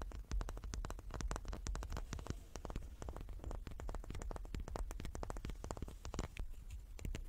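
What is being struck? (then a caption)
Small wooden cube. A small wooden cube is tapped repeatedly with quick, dry strikes in a steady, rapid flurry. Each tap is a short click that dies away almost instantly, with most of the energy in a soft low thump and a faint bright edge.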